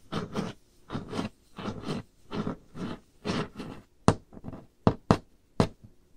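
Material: Wood.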